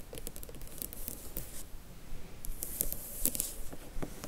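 Long nails scratch and lightly tap the glossy top panel of a printed cardboard Harry Potter book box set slipcase, full of books and held in the hands. Dry, papery scratching mixes with quick, crisp taps in a loose, fairly steady rhythm, each sound short with no ring.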